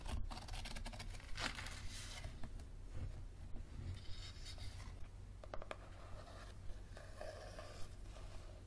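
Fingernails tap and scratch the back cover and spine edge of a yellow softcover paperback book. Quiet, dry scratching runs throughout, broken by short, sharp taps at an uneven pace, all over a steady low hum.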